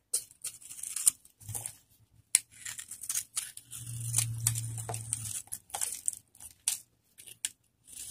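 A metal cutter blade scrapes and carves the surface of a hand-sized, solid orange bar of dry soap held in one hand, breaking off crumbly shavings. Short, dry, bright crackling scrapes come in quick, uneven bursts, with a low hum underneath in the middle of the clip.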